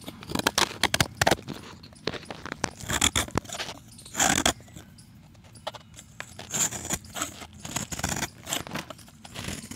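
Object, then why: Chalk block scraped with a steel blade. A solid, round, pale chalk disc held in the hand is scraped and shaved with a steel utility knife blade, sending powder and flakes off its surface. The result is a rapid, irregular series of dry, bright scraping and crunching strokes, with a few longer rasping shaves between short, sharp ones and brief quiet pauses.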